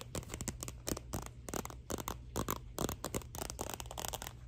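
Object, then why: Glossy paper cover of a thin paperback book. Long nails scratch and tap the glossy paper cover of a thin Scholastic paperback picture book, "May I Please Have a Cookie?", held up in both hands. A rapid run of dry, bright scratches and short, crisp taps plays over a steady low hum.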